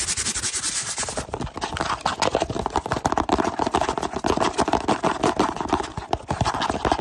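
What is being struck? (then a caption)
Small cardboard box. Fingertips tap and rub fast on the sides of a small, hollow kraft cardboard box with a drawing on it, held close in both hands. Dense, rapid, dry papery taps mix with scratchy rubbing, giving a hollow midrange knock with almost no ring. The pattern grows louder and busier after the first second and keeps a steady, jittery rhythm to the end.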